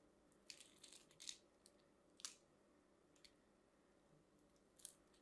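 A solid teal-and-white striped soap bar, held in a hand with long nails, is cut and scraped across its crosshatched surface with a craft knife, crumbling pieces of soap off. Quiet, bright, crisp scraping crunches come in short, irregular bursts over a soft hiss.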